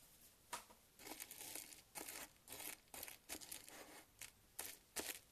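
A thin wooden chopstick stirs and scratches through uncooked dry long-grain white rice in a shallow round glass dish. It makes bursts of bright, crisp rustling and scraping grains, with short quiet gaps between strokes and a few sharper clicks.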